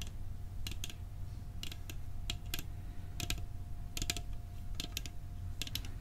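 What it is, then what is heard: Metal cookie tin. A metal cookie tin is tapped for ASMR with fingers, giving quick, bright, dry clicks that stop almost at once, often in close pairs or small clusters. Under the taps sits a steady low rumble and a faint constant mid tone.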